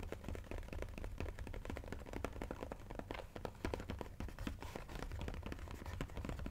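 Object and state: Cardboard puzzle box.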